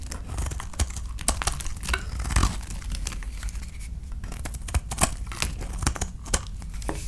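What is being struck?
Bar of soap.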